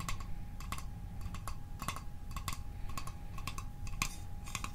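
A small hollow metal Altoids mint tin, seen close up, is tapped quickly with the fingertips and nails. The result is a fast, irregular run of bright, tinny clicks with a short metallic ping near 1 kHz that dies away almost at once. A steady low rumble and a faint constant hum sit underneath.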